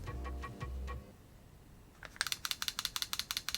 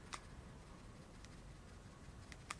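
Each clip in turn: First: replica pistol with loose internal parts. Second: replica pistol, tight with no rattle.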